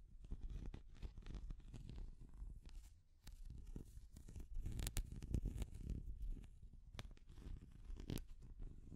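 A small translucent orange hard plastic cat figure is tapped and scratched with long nails. Quiet, dry scratching and scraping mix with sharp clicking taps that die away instantly, all with a muffled, low-heavy rumble underneath.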